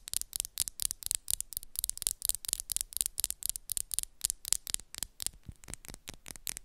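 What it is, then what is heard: Acrylic nails tapping. Long, solid black and pink acrylic nail tips tap and scratch against each other up close, making a rapid run of about 28 sharp, dry clicks. Each click is bright and stops almost at once, with soft scratchy hiss between them and little low end.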